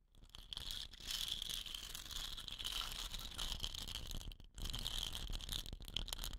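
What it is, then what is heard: Painted wooden rain stick. Long nails tap and scratch the painted body of a hollow, dot-painted wooden rain stick standing upright on cloth. A dense, bright, scratchy rustle of quick taps runs almost continuously, dropping out briefly near the end before resuming.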